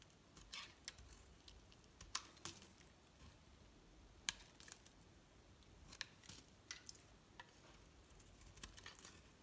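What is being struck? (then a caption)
Bar of soap cut with a metal blade. A metal blade cuts slices off a solid green soap block with red streaks, held in the hand. Quiet, crisp clicks and scraping snaps come at irregular intervals over a soft, steady hiss. Each slice gives a brief, bright crackle that stops almost at once.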